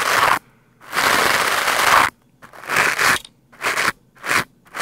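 A lime-green plastic scrub brush with stiff bristles is swept fast across a black foam microphone windscreen. It makes loud, scratchy, crunching bursts of bristle noise with a bright hiss and a peak around 1 kHz. Short and long strokes are separated by near-silent gaps.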